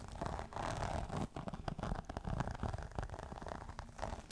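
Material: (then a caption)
Faux leather. Long nails scratch a green crocodile-embossed faux leather clutch held upright, making a steady, dense scraping rasp. The sound is mostly low and soft, with brief dips and quick bursts but no ringing tail.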